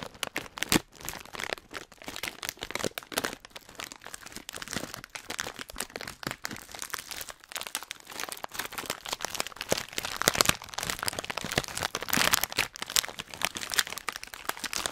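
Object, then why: Metallized plastic foil snack bag filled with nuts. A hand-sized Hot Nuts snack bag of metallized plastic foil, filled with nuts, is held in both hands and squeezed and crinkled with the fingertips right next to the microphone. The result is a dense, continuous stream of bright, sharp crinkles and crackles with no low rumble, swelling to louder bursts around the tenth and twelfth seconds.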